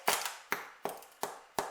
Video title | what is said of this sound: HOW TO MAKE BEER BREAD - Aussie girl can cook | if it sounds hollow, she's ready